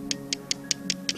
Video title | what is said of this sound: Amber Identification | a very sharp Stony sound